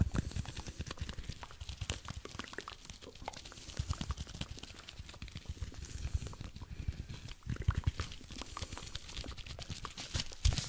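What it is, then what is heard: Cellulose sponge. A single palm-sized, porous blue cellulose sponge is squeezed, crinkled and scratched with the fingertips close to the microphone. It makes a dense, steady stream of soft, low thumps and rapid bright crackles, with a few louder squeezes standing out toward the end.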